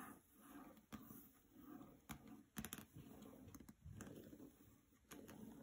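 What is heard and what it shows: Long nails tap across the glossy paper dust jacket of a hardcover copy of the novel "Graceling" resting on a carpet. Quiet, scattered sharp clicks stand out over a soft, low rustle.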